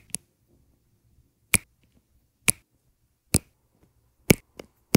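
A metal-tipped drill pen taps and presses small round resin rhinestone drills, set in green and black rows, into place on an adhesive canvas. Seven short, sharp, bright clicks with a low thump are heard at irregular intervals, each dying away almost instantly into near silence.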